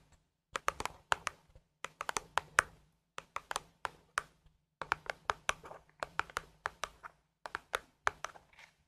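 Long acrylic nails tap and scratch the top and sides of a small, hollow printed cardboard gift box from a Harry Potter advent calendar (day 2, sweater print), likely holding a small item and held in both hands. The result is quick bursts of crisp, dry, bright clicks with faint scratchy rustles between them, each tap dying away almost instantly.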